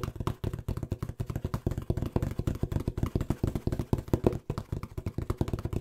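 Fingertips tap and knock quickly on a small, hollow brown corrugated cardboard box that looks empty. A fast, steady stream of dull, hollow thuds with a low, boomy body and almost no brightness. Each knock dies away at once with no ring.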